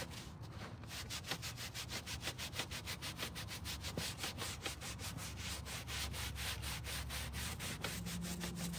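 A gloved hand scrubs the wet pile of a dark grey carpet car floor mat, laid flat on a table, back and forth with a stiff green-bristled hand brush. Quick, slightly uneven strokes of about two per second make a bright, scratchy bristle hiss over a steady low rumble.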